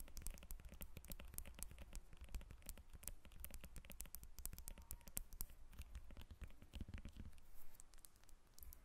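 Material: Citrus peel.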